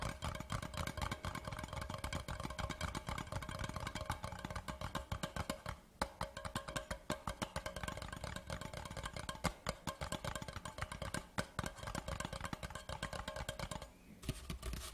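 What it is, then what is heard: Cardboard whisky tube. Fingertips tap fast on both sides of a large, hollow white cardboard whisky tube lying horizontally on dark cloth. The result is a steady stream of quick, dull, hollow thuds with a low body and very short ring, broken by brief pauses near 6 and 14 seconds.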